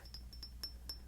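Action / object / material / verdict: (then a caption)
tap / frosted glass perfume bottle / glass / none. Light taps and clinks on a frosted glass Bvlgari perfume bottle with a gold top give six quick, high, bell-like pings. Each rings briefly over a steady low hum.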